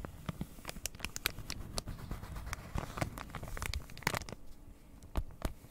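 A flat cross-stitch kit, printed card in plastic packaging, is held in both hands while long red nails scratch and tap its surface. Quick crinkly clicks and brief scratches spread up to the high range over a low rustling bed, with short, dry taps that stop at once.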